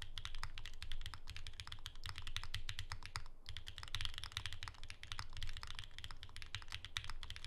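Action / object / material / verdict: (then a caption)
tap / mechanical keyboard with plastic keycaps / plastic / none. A pink ergonomic Alice-layout Bear 65 mechanical keyboard with plastic keycaps and a hollow case, resting on a desk mat, is typed on continuously and fast with the fingertips of both hands. A dense stream of bright, sharp clacks rides over a hollow, low thocking body, with brief gaps in the rhythm.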